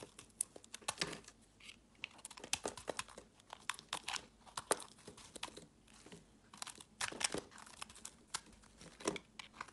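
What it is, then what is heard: Bar of soap being carved. A palm-sized solid orange bar of soap, held in the hand, is scraped and carved with a metal blade while the shavings pile up on a woven mat. The result is a dense, crackly run of short, bright scraping and crunching strokes that come in quick bursts with brief pauses between them. Each stroke dies away almost instantly.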